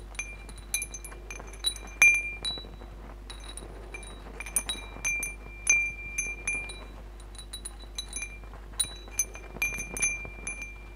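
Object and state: Metal tube wind chime with glass beads.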